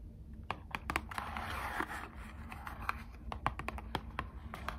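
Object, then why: Small thin cardboard card box tapped with long nails. A small, closed, hollow Squishmallows trading card box made of thin printed cardboard is held in both hands and tapped with long acrylic nails. Many quick, dry, sharp clicks fall in an irregular rhythm, with a soft scratchy rustle swelling between about one and two seconds over a low steady hum. Each tap dies away almost at once.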